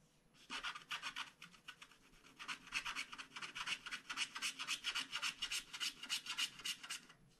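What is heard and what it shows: A wooden stylus scratches the coating of a flat scratch-art card page in a quick, uneven run of short, bright, dry strokes, about three or four per second. The scratching starts after a brief quiet moment, has almost no low end, and continues steadily to the end.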